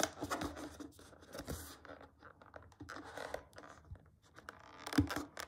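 A thumb and short fingernail scratch along the yellow side edge of a small, flat, closed printed cardboard retail box for a BlackWeb glass screen protector (iPhone SE 2.0, iPhone 7 or iPhone 8) resting on a table. The result is a run of dry, papery scrapes and scratches in close succession, with a slightly louder scrape near the end.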